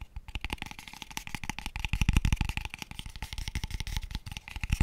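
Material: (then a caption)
Wood. Fingertips and nails tap rapidly and unevenly on a small, empty, hollow pale wooden square tube box. The dense run of short taps gives a low hollow knock with bright clicky edges. Each tap dies away almost instantly.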